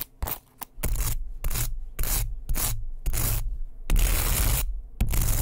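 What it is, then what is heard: Wooden hairbrush. A small, solid, light wooden hairbrush with bristles is held close to the microphone while fingertips and nails rub and scratch quickly across the bristles and the wooden body. The result is a run of fast, rough scraping strokes with a bright bristly hiss over a heavy low rumble.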